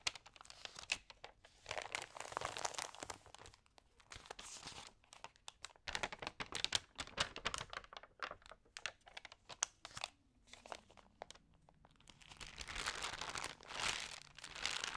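Long nails and fingertips scratch, rub and turn the pages of a damp, thin paper magazine, close up. Soft, bright crinkling and rustling come in bursts, dotted with dense, quick scratches and ticks that die away at once. The sound stays quiet throughout, with almost no low end.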